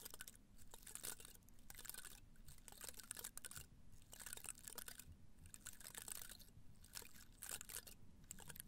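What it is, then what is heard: Cactus spines being scratched. Fingertips and nails scratch and brush the top of the dense, pale spines of a small live cactus with a solid plant body, held in one hand in a red-brown pot. The sound is quiet, bright, crisp crackling and scratching in dense clusters with brief pauses, over a steady low rumble.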